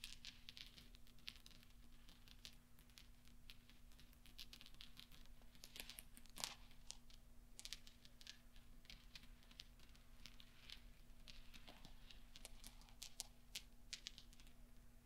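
Fingertips flick and roll small solid steel pachinko balls on velvet so they clink together. Quiet, bright, sharp clicks and ticks scatter irregularly across the clip over a steady low hum, each one dying away almost instantly.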